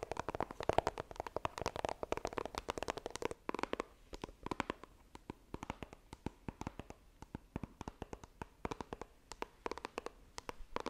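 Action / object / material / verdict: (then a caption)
tap / small coated cardboard box / cardboard / none. Long nails tap and scratch on a small, hollow white iPhone retail box of coated cardboard as the box is turned from upright to horizontal. A dense flurry of dry, hollow clicks and scratchy rubbing fills the first few seconds, then thins into sparser, sharp, quick taps with no ring after each.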